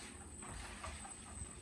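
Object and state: Nothing is struck.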